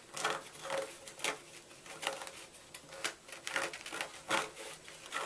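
A small red-handled knife repeatedly scrapes inside the carved hollow of a solid white gym chalk block. Each stroke makes a dry, gritty rasp with bright high hiss, arriving in quick uneven bursts with almost no low end or ring.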